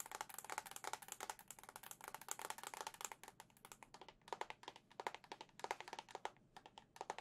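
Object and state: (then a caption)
Plastic game console back tapped with nails. Long nails tap rapidly on the hollow white plastic back of a Zelda-edition Nintendo Switch OLED console. The result is a dense run of short, dry clicks with a hollow tone around 920 Hz and bright edges. The clicks come in quick bursts separated by brief pauses.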